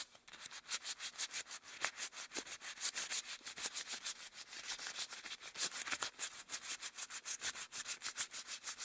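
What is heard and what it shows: Hands in long cream rubber gloves rub together and wring with interlaced fingers. The result is a rapid, uneven run of soft, bright rubbing strokes with a hissy, high-pitched texture and almost no low end.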